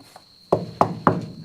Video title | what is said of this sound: I Smashed on the 69 Chevelle SS and it Broke bad! | it almost sounds like wood. They're hard as a rock.